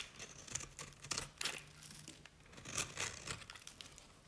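A utility knife blade cuts curls from the edge of a cream-colored solid bar of dry Nevskaya Cosmetics soap. Quick, bright scraping and crackling bursts, with a faint low hum underneath for part of the clip, sound dry and stop almost instantly with no ring.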